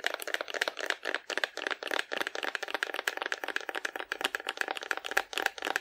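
A hollow painted cardboard dinosaur, held sideways in both hands, has its body tapped by long nails. The result is a steady run of quick, dry, papery clicks centered around 1.6 kHz, with a bright edge, no low end and almost no ring after each tap.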